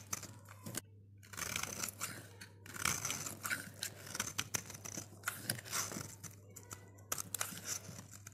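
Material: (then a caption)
Soap. A snap-off utility blade shaves and scrapes a dry, solid green Safeguard soap bar with a blue rim, held in the fingers, curling it into shavings. Bright, crisp scraping and crunchy shaving strokes come in quick bursts with short pauses, over a faint steady low hum.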